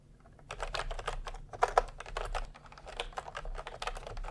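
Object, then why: Plastic computer keyboard keys. Fingertips type fast on a full-size plastic computer keyboard with round pastel typewriter-style keycaps and a hollow body, resting on a white cloth. A quick stream of light, clacky keystrokes plays over a faint low hum, with two sharper clicks standing out partway through. Each keystroke is short and dry, with almost no ring.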